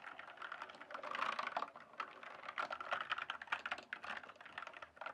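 Fingertips type and tap rapidly on a full-size RGB-backlit plastic mechanical computer keyboard, its hollow keys resting on a solid base. The result is a dense, uneven stream of short, hollow plastic clacks centered in the midrange around 1.4 kHz, with bright edges, almost no low end, and each stroke dying away almost instantly.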